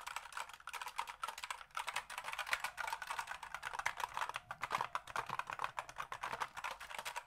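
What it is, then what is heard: Plastic computer keyboard. A full-size black plastic computer keyboard is held up in the hands while fingertips type and tap on its keys. A quick, steady stream of light, dry plastic clicks is heard, each one short with almost no ring. The tone sits in the mids and bright highs, with almost no low end, at a quiet level.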